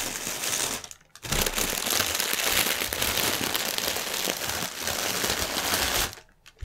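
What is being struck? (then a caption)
Thin plastic air-pillow packaging film. Fingertips with medium painted nails press and rub a long strip of thin, clear, mostly deflated plastic air-pillow packaging film with green print, lying on a white table. The result is dense, bright crinkling and crackling, with a brief lull near the one-second mark. The sound then runs steadily until it drops away just after six seconds.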